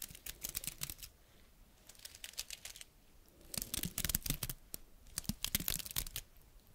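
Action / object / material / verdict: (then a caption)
scrape / pine cone scales / wood / none. A single small, dry brown pine cone with woody scales is held close and scratched with long red nails. Bursts of crisp, bright scratching and clicking come in quick clusters, separated by brief quieter stretches.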